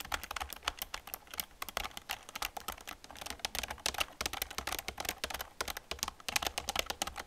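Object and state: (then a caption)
Plastic computer keyboard being typed on. Both hands type on an old black plastic computer keyboard with fingertips and long nails, producing a steady run of rapid, bright, clicky keystrokes. The clicks are sharp and short with almost no ring, over a faint low hum.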